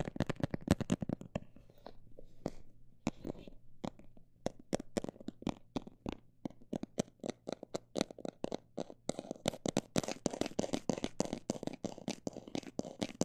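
A textured cosmetic bag is tapped with a quick, uneven run of short, dry, crinkly taps that die away almost instantly, over a faint steady low hum. The taps grow denser and brighter in the last few seconds.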